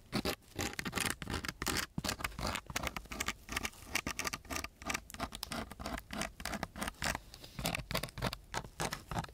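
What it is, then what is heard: Sandpaper sheet. A wooden stick held in a gloved hand scratches and taps across the grit of a coarse brown sandpaper sheet. Quick, rough, gritty strokes come in rapid bursts, mixed with short dry taps and a bright, hissy edge.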